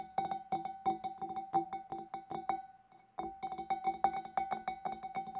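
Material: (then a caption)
Glass. Long dark nails tap rapidly inside the neck and on the rim of a large, clear, empty glass fish bowl. Each light tap gives a short glassy ping, with a steady ringing tone near 780 Hz and some bright overtones. The tapping pauses briefly just before the three-second mark, then resumes.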